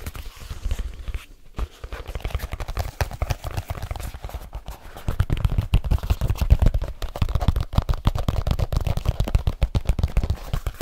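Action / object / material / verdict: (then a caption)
tap / leather folio case / leather / none. Fingertips tap rapidly on the cover of a large black leather folio case held flat in front of the face. The result is a dense, fast run of dull, dry, low thumps with almost no ring, growing louder about halfway through.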